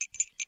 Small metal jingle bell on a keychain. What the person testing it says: 鈴の音が いい音するわー